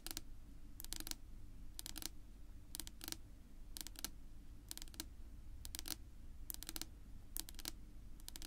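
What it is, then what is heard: Wooden table top tapped with fingernails. Long pink nail tips tap and scratch across a flat, solid, dark wood-grain tabletop. Quick bright clicks come in clusters about once a second over a steady low rumble, and the clicks die away almost instantly.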